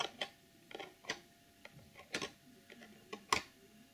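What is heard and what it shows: Fingernails tap the sides and top of a hollow clear plastic packaging box holding a sequin pouch and a pom-pom. The taps are short, sharp, bright ticks in an uneven rhythm, each dying away almost at once. Between them there is quiet, with little low end.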